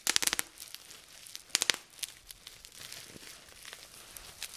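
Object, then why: Plastic bubble wrap. Clear plastic bubble wrap is gathered and twisted between both hands while fingers pop its air bubbles. Quick clusters of sharp, bright pops come at the start and again about halfway through, with soft crinkling and scattered smaller snaps in between.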